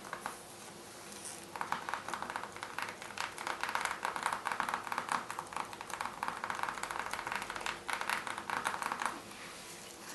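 Long red nails on both hands scratch and tap a flat, thin, hollow white plastic mailer envelope in quick repeated strokes. After a quiet start, a dense stream of crisp, crinkly scratches and light taps centred in the mid range runs from about 1.5 to 9 seconds, then fades back to a soft hush.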